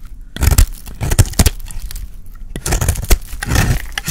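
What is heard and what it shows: A dry, solid green soap bar held in the hand is scraped and cut into flakes with a utility blade. Short, crackly, bright scraping strokes come in several bursts over a dull low rumble, and each cut ends quickly with no lingering ring.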